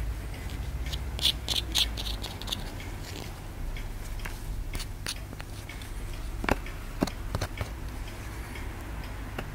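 A small, solid white plaster excavation block is held in the hand while a wooden stick scratches and scrapes at it, with a wooden mallet lying nearby. Irregular dry, bright scraping ticks and sharp little clicks sound over a steady low hum, and a few louder scrapes stand out toward the end.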